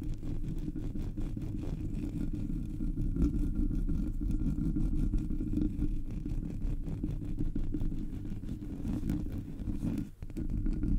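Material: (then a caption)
Metal mesh. Fingertips and nails scratch the sides and top of a Blue Yeti microphone's black hollow metal mesh grille. Heard through the mic, the scratching becomes a dense, steady, low rumbling texture with a low hum underneath. The sound holds level throughout except for a brief dip near the end.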